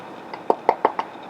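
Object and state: Focaccia, baked through with hollow-sounding base.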